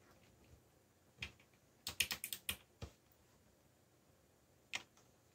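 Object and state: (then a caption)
Plastic mechanical keyboard. Fingertips press keys on a backlit mechanical computer keyboard with black plastic keycaps, producing nine sharp, bright plastic clicks. A single tap comes first, then a quick burst of typing taps, one more, and a last lone tap after a pause. Each click is quiet and dies away almost instantly, with little low end.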